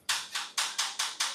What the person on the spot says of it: this background is completely not real even though you hear me tapping on it.